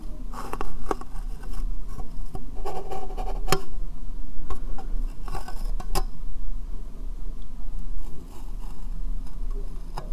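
A small, hollow, empty clear plastic box sits upside down over the microphone and is tapped and rubbed with fingernails. Sharp, brief clicks and scratchy rubbing bursts sound over a steady low hum.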